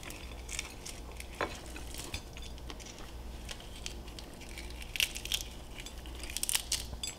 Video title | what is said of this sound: SPICY CRISPY FRIED CHICKEN AIR FRYER | to show you how crispy it is you hear that